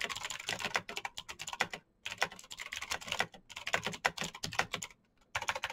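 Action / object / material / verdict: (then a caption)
tap / mechanical keyboard with plastic keycaps / plastic / none. Fingertips type fast on a black Razer BlackWidow mechanical keyboard with plastic keycaps on clicky green switches. The result is a rapid stream of bright, sharp clicks with almost no ring, broken by two brief pauses.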